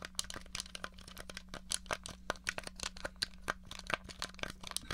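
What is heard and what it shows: Long nails tap quickly on the buttons and casing of a small, hollow grey plastic NES controller held flat. The clicks are sharp, dry and bright, with almost no ring, over a faint steady low hum.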